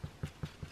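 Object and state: Hollow-sounding baked-through bread loaf.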